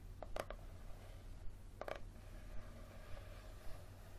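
Fingernails tap and scratch the leathery cover of a small, thick, solid yellow paperback held tilted in one hand. Quiet, short, dry clicks and brief scratchy bursts with a mid-pitched tone come at irregular intervals over a steady low background hum.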